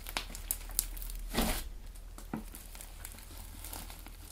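A large, flattened mass of soft, solid blue clay slime on a white table is pressed, folded and kneaded with fingertips and short dark-painted nails. Soft squishing and crinkling come with sharp, bright clicks and a louder, broader squelch partway through, over a steady low hum.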